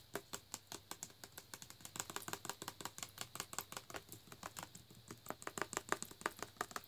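Fingernails tap rapidly on the front label and the nutrition-facts label of a full plastic Naked juice bottle as it is rotated in the hand. The result is dozens of short, crisp, dry clicks with bright highs and almost no ring, some louder than others.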